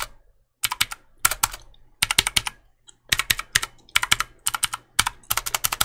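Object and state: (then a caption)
Plastic mechanical keyboard. Fingertips click continuously on the keys of a black plastic mechanical keyboard held upright in one hand. Bursts of sharp, bright clacks come in quick groups separated by short pauses, and each click dies away almost at once.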